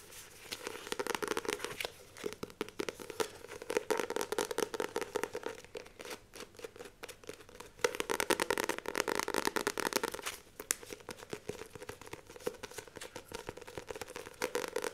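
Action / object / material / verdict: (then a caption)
scrape / paperback book with glossy card cover / paper, card / none. Long nails rapidly scratch and tap the glossy card cover and page edges of a Famous Five paperback book held up in the air. Dense bursts of crisp scratching and clicky tapping come in waves, with a few short pauses between them.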